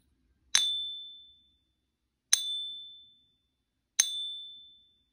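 A 1 oz .9999 silver Australian Kangaroo coin, labelled real, is held edge-on in a black plastic Pocket Pinger clip and tapped three times with a small wooden stick while a second coin lies untouched on the table. Each tap gives a sharp, bright ping with a clear high ring near 3.4 kHz and higher overtones, fading smoothly over about a second.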